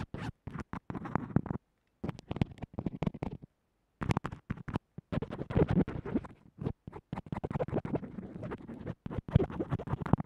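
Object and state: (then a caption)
Earphone microphone scratched through tape. The metal tip of a mechanical pencil scratches along white textured tape holding a small earphone microphone flat to a table. Quick, rough strokes come in dense bursts with short silent pauses between them. The scratches sound close, scratchy and heavy in the low end.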